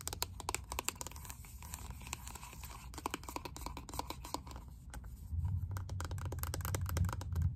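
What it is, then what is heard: Plastic makeup compact. Long nails tap rapidly and irregularly on the holographic crystal-pattern lid of a small pink plastic makeup compact, making sharp, dry clicks. A steady low hum sits underneath the tapping and grows louder in the last couple of seconds.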